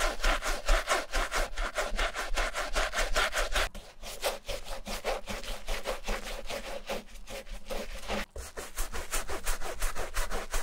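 A wooden-handled bristle brush, held in the fingers, scrubs the soapy, foamy canvas upper and side of a striped Vans slip-on sneaker. The sound is a steady run of quick, rasping back-and-forth strokes with a bright, scratchy texture. The strokes turn softer from about four seconds, break briefly near eight seconds, then return to firmer scrubbing.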